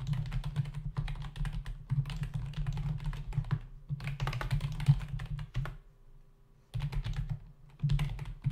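Both hands' fingertips type rapidly on a full-size black plastic membrane keyboard with hollow keys, resting on a dark desk. Bursts of quick, dull, low-pitched key taps and hollow thunks come in runs, with a brief quiet gap near the end before the typing resumes.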